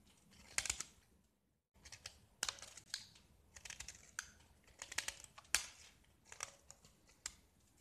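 A small solid square gypsum plaster block, painted red on its surface and scored in a grid, is held in one hand and scraped and carved with a metal utility knife blade, flaking off white powdery chips. Quiet, bright, dry scratches and crisp scraping strokes come in uneven bursts with almost no low end, each dying away almost instantly. A brief silent pause falls early in the sequence.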